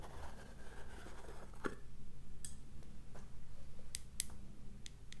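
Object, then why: Small plastic cosmetic powder jar. Long acrylic nails tap and scratch the blue plastic lid and clear plastic sides of a small round cosmetic jar holding pink loose powder, and the jar is held up close at the end. Sharp, bright clicks sit over soft scratching and a steady low background hum.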